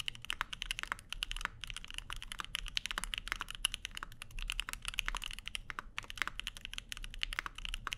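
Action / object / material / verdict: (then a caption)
tap / mechanical keyboard with aluminum plate and plastic keycaps / aluminum, plastic / none. A Keycult No 2/65, a 65% mechanical keyboard with a black case, plastic keycaps, an aluminum plate and lubed linear Lavender switches, sits on a desk mat with a wooden wrist rest while both hands type steadily on it. It produces a rapid, continuous stream of short, crisp clacks and taps, bright and centered around 2.9 kHz, each dying away almost instantly, with a faint low rumble underneath.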